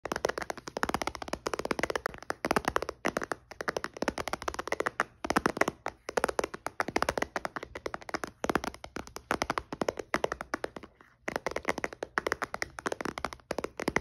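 A white-bezel iPad with a glass touchscreen, in a case and lying flat on a dark blanket with the screen off, is tapped rapidly on the glass with the fingertips and nails of one hand. The result is a dense, continuous run of short, dry clicks and taps centered in the midrange, with no ringing and only brief pauses between flurries.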